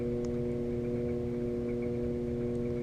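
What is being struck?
Nothing is struck.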